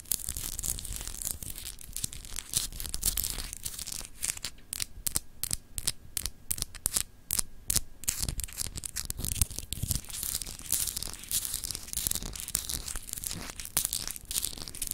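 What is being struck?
Solid glass globe paperweight.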